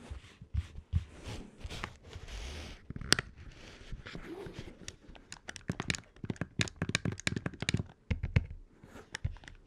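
Fingertips and nails tap the closed lid of a small, hollow red plastic Game Boy Advance SP clamshell handheld console, then the console is flipped open and its buttons and D-pad are touched and pressed. Sharp, dry plastic taps and clicks with bright edges come in quick bursts, separated by soft scraping and rustling handling noise. Each click dies away almost instantly.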